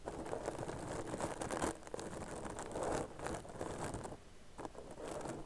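Long nails scratch and tap across the stitches of a tan crocheted yarn purse held close to the microphone. The result is a dense, dry rustling scrape centred in the low-mid range with faint bright hiss, swelling and easing in waves with short soft taps mixed in. It dips quieter briefly near the end before picking back up.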